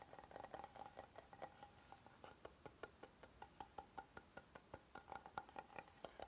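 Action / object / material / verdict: tap / oval wooden serving board / wood / none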